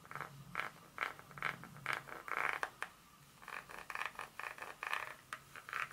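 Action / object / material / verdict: tap / chocolate bar / chocolate / none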